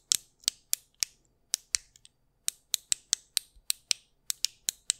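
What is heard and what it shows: Fingertips press and click the buttons and switches of a small, solid white plastic anti-stress fidget cube held in one hand close to the microphone. About 17 sharp, bright clicks come in an uneven rhythm over five seconds, each one dry and instantly gone with no low end.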